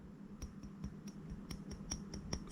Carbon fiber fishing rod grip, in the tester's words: 약간 좀 상당한 소리가 나죠 금속 소리도 아니지만